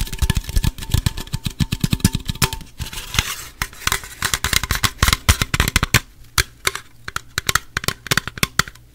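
Fingernails tap and scratch the sides of a gold, apparently unopened Pepsi aluminum can held in both hands close to the mic. Rapid, dense taps give short dry clicks with a soft low thump, broken by bursts of bright, crackly scratching. The sound stays close and dry, with almost no ring after each tap.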